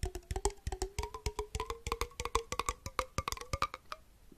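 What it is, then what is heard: Empty glass jar with metal lid. A small, hollow, empty glass jar with a copper metal lid is held close to the mic and tapped with fingertips and nails. A quick, steady run of short, clicky taps gives a hollow, woody ring. Its pitch slowly rises from around 380 Hz to about 500 Hz as the tapping goes on.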